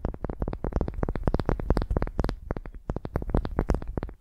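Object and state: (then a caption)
Wooden ball tapped with nails. Long nails scratch and tap a solid pale wooden ball resting on the microphone. A rapid, uneven run of short, dry clicks and knocks follows, each with a deep, boomy thump and a bright tick that dies away almost at once.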